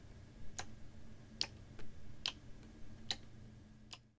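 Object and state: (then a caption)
Plastic water bottle with water. A clear plastic water bottle with a white cap, hollow and partly filled with water, is held in both hands and tilted, shaken and gently squeezed. Five short, evenly spaced, bright ticks sound over a quiet, low rumble. Each tick is dry and stops almost instantly, like a clock's tick-tock.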